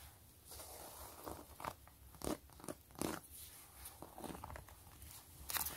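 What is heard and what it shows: Long acrylic glitter nails scratch and tap across the textured surface of a flat, closed, long zip-around wallet made of pebbled gray faux leather with stitched quilting. Soft, dry scratching runs throughout, broken by sharper crunchy taps.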